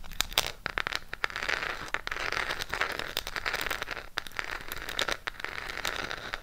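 Long pink acrylic nails tap and scratch a small, closed burgundy Harry Potter Gryffindor eyeshadow palette with a cardboard case. The result is a steady, dry, crackly scratching texture in the upper mids, broken by frequent sharp, bright taps that die away almost instantly.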